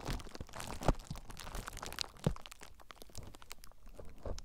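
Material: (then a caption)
Plastic. Fingertips with short nails squeeze, crinkle and scratch clear plastic bubble wrap draped over a recorder with a lit screen. Quiet, irregular crackling and scratching runs throughout, with two louder crunchy pops standing out, the first near one second in and the second a little past two seconds.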